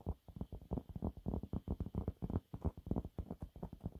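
Fingernails claw and scratch quickly across a thin, flat, yellow textured cellulose sponge cloth. The result is a rapid, irregular series of soft, muffled scratching bursts, low and dull with almost no bright content.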